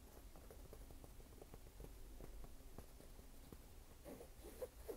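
Fingertips and nails tap and scratch the canvas upper of a hollow, empty red canvas low-top sneaker with a white rubber sole, held up in hand. Quiet, soft pattering taps and light scratches run over a low, dull rumble, with a couple of slightly sharper taps near the end.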